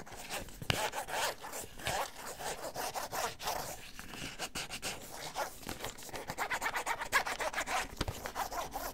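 Fingertips or nails rub and scratch the surface of a small, hollow, white printed cardboard box, vibrator packaging, held in both hands close to the ear. The result is a continuous run of dry, rasping, sawing-like scrapes with quick bursts and a bright, papery hiss. A few sharper clicks stand out along the way.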